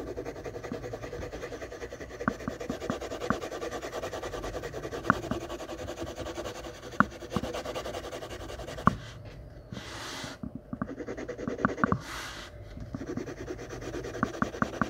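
A graphite pencil held in the fingers scratches and rubs across a large flat sheet of white drawing paper taped to a board, shading the robe of a portrait in progress. The sound is a steady, soft, papery scratching with small sharp ticks from the pencil strokes. Two brief bright, airy bursts break through near the end.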